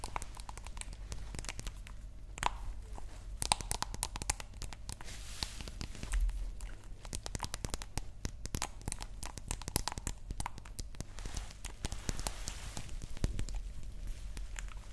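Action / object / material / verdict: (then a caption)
tap / small glass nail polish bottle / glass / none. A small, dark green glass nail polish bottle with a white cap, apparently filled, is tapped and scratched with long nails while held close. The result is a dense run of quick, sharp clicks and dry, scratchy, crinkling textures over a steady low hum.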